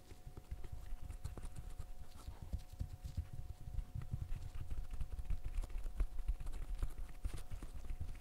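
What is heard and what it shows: Fingertips in net gloves press and pop the bubbles of a green silicone pop-it fidget toy, producing a steady run of soft, dull, low popping taps. Each tap is short with almost no ring, over a faint background hiss.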